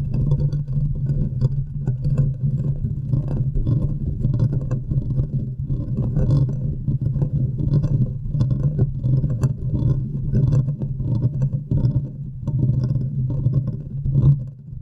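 Long manicured nails scratch and tap the hollow metal mesh grille of a large condenser microphone with a metal body. A dense, continuous, bass-heavy rumbling scrape fills the clip, with quick soft taps and faint bright crackles scattered through it.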